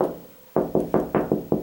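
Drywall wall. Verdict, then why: Hollow. Seven knocks on a drywall wall near a previously patched area give short, hollow midrange thuds that die away quickly. The hollow sound shows there is no stud behind that spot.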